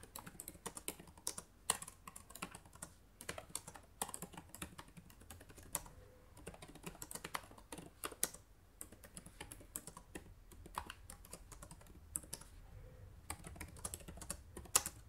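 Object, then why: Plastic laptop keyboard. Fingertips type on the plastic keys of a black laptop keyboard. A steady run of short, quiet, bright clicks with irregular spacing fills the clip, with occasional slightly louder taps and brief pauses between bursts.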